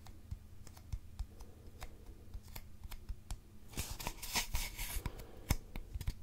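A long, hollow, empty brown cardboard mailing tube is held upright in both hands and tapped and scratched with fingertips and nails. Soft, dry taps sit over a low hollow resonance, then a louder burst of bright scratching comes in near the middle. The result is a quiet, close series of short taps that fade quickly.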